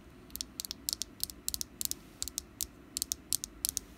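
Long black nails tap the ribbed side of a small solid orange wax pumpkin candle with a green top. They make nineteen short, dry, bright clicks in quick irregular bursts. Each click dies at once against a quiet, faint background hiss.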